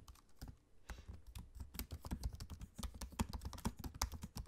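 Fingertips of both hands type continuously on a dark grey laptop keyboard with plastic keycaps set in an aluminium chassis. A rapid run of short, dry key taps with a soft low thud under each and brief bright clicks on top, dying away almost instantly.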